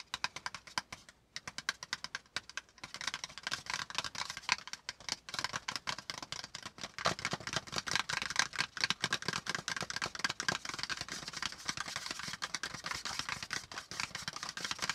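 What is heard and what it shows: Fingertips of both hands tap quickly on a thin, flat brown kraft cardboard panel lying flat. The result is a dense stream of dry, bright, papery clicks with almost no ring, sparser and softer for the first few seconds before becoming a steady, busier patter.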